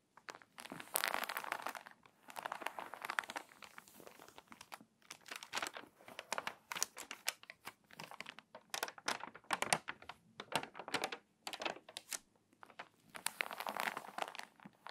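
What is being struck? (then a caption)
Glossy paper magazine. Long acrylic nails and fingertips press, rub and scratch across the crinkly pages of an open, water-damaged glossy paper magazine lying flat on a table, creasing its spine. Dry crinkling and crackling comes in bursts with short bright scratches and taps between them, while the lowest range stays nearly empty. The sound is quiet and close, and each crackle stops almost at once.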